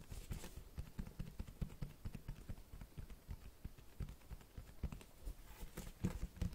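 Fingertips tap and scratch the cloth-textured cover of a large black Berserk hardcover book held up in the air. The result is a quick, uneven run of soft, dull, low thumps centred around 180 Hz that die away almost instantly, with faint brushing scratches between them.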